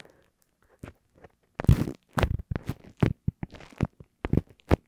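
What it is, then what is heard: Paper index card. Long acrylic nails and fingertips scratch, rub and tap a small, thin, flat lined paper index card with a punched hole, which lies over an Apple earphone mic. Close, dry, low-heavy bursts of papery scratching, rustling and tapping start and stop in quick, irregular runs, with no ring after each touch.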